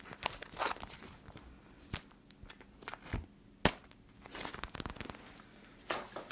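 A clear plastic eye mask filled with teal gel beads is squeezed with both hands and scratched with long yellow nails close to the mic. The result is a series of soft crinkling and crackling scratches, with a few sharper, brighter clicks standing out.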